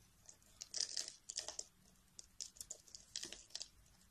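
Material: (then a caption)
Soap. A metal blade carves chunks and flakes off the edge of a solid pale peach bar of soap held by fingers with dark nails. The sound is a quiet run of short, crisp, bright scraping and crunching cuts in clustered bursts, with almost no low end.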